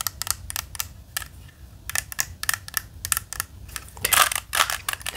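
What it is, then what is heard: Plastic puzzle cube being twisted. A hand-sized, standard 3x3 plastic Rubik's cube is held in both hands while the fingers twist its layers. It makes a rapid series of bright, short clicks and rattles with little low end, and a louder burst of turning near the end.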